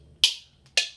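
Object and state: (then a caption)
Mixing bowl tapped with a spoon. A mixing bowl is tapped twice with a white plastic spoon, played as a household instrument. Each tap gives a bright, high-pitched ping centered near 3 kHz that fades over a fraction of a second.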